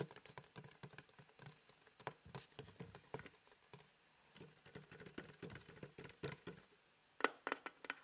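Fingertips tap fast patters on a small, hollow, printed cardboard house-shaped box held beside the mic. The dry, quiet taps have a papery, hollow thump with no ring. They come in quick bursts separated by short pauses, and the loudest run comes at the end.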